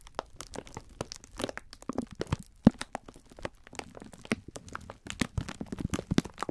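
Fingertips press, squeeze and rub the thin clear plastic wrapper around a full pack of sponge scourers. A dense run of sharp crinkles, crackles and soft crunches comes in quick bursts, with a few louder snaps standing out. The sound is dry and close, with no ring after each touch.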